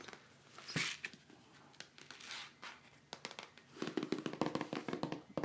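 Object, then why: Plastic powder tub. A large black plastic protein powder tub with a red lid and plastic label, partly filled, is held in the hands and tapped and scratched with fingertips and nails on its side and label. Soft scratchy rubbing comes first, then a run of quick, hollow, dull taps that die away almost at once.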